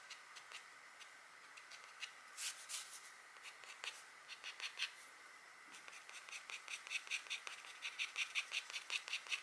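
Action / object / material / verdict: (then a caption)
scrape / wax-coated scratch art card / wax coating / none. A green stylus held by a long-nailed hand scratches short strokes into a deer drawing on a flat black, wax-coated scratch art card. The quiet, bright, dry scratching comes in brief rasps that start sparse and grow into a quicker, steadier run of strokes toward the end.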